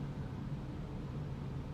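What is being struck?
Nothing is struck.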